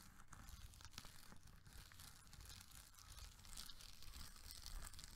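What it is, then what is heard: Foil bubble mailer being crinkled. A medium gold foil-laminated plastic bubble mailer, hollow and apparently still holding a glam bag, is held in both hands and squeezed, crinkled and rubbed with fingertips and nails. It gives a steady, dense crackle and crinkle with a low rumbling body, bright rustling on top and many short snaps. The crinkling swells a little louder toward the end.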